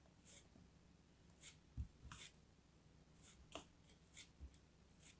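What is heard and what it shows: A small, solid blue chunk of kinetic sand is held in the fingers and carved with a pointed metal craft knife. Quiet, soft scraping cuts come as brief bright hissy bursts over low, dull thumps, each dying away almost at once.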